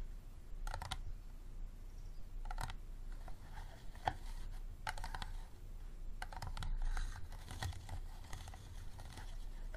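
Fingertips and nails tap quickly on the sides of a small, empty, clear plastic water bottle with a green cap standing upright. The hollow bottle gives off bursts of dry, clicky taps and light scratchy rasps over a steady low rumble, and each tap dies away almost at once.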